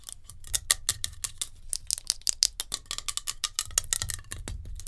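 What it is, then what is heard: Metal hairspray can. Long nails tap fast on a metal hairspray can, making a rapid run of sharp, bright clicks with short, tinny rings and a faint low rumble underneath.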